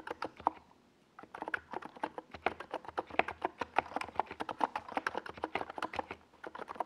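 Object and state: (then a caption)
Plastic mechanical keyboard. Fingertips type continuously on a NiZ Plum Atom 68, a small 68-key mechanical keyboard with a white plastic case and purple and yellow plastic Domikey Gas Attack SA keycaps, resting on a desk pad. Quick, clacky keystrokes arrive in a steady stream with a brief pause near the one-second mark. Each hit is short and dry with almost no ring.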